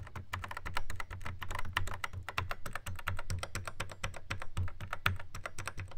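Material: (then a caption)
Plastic. Fingertips tap quickly across the pads of a Yamaha RX11 drum machine in a black plastic housing. The result is a dense, uneven stream of dry, clicky plastic taps over a soft low thump, each tap dying away almost instantly.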